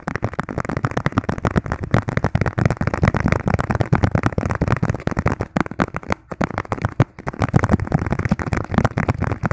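Fingertips tap fast on a thin, hollow, hand-sized yellow plastic margarine tub lid. The result is a dense, continuous stream of dull, hollow taps, weighted toward a low thump with almost no high end. Each tap dies almost instantly, with a few brief gaps in the rapid run.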